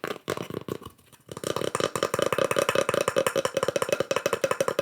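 Fast, continuous tapping on a wooden slice with pyrography mushroom art burned into it gives a dry, hollow, wood-block-like knock pitched around 500 Hz. After a brief pause near the one-second mark, the taps speed up into a steady rapid patter, each one clicking short and bright with almost no ring.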